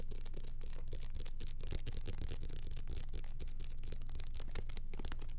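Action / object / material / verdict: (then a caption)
scrape / small paperback book with glossy paper cover / paper / none. Fingertips rapidly scratch and tap the glossy paper cover and page edges of a small, solid paperback copy of The Boxcar Children held in both hands close to the mic. The result is a fast, steady stream of dry, crackly scratches and soft taps, with bright bursts over a constant low rumble.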